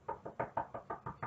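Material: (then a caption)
Wood. A wooden surface is knocked by hand eight times in a quick, even series, a "knock on wood" for luck after predicting Edmonton will do well this season. Each knock is a short, dull, mid-pitched rap that dies away almost at once, with hardly any bass or brightness. The knocking is hard enough to hurt the hand.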